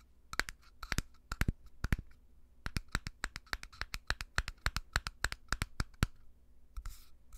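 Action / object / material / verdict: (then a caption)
tap / small glass jar with screw lid / glass / none. A small, clear, empty-looking glass jar with a dark screw lid is held close to the microphone and tapped and scratched with fingertips and short nails. It makes a quick run of short, dry clicking taps with almost no ring, some grouped in rapid pairs and triplets, then a brief scratchy rasp near the end.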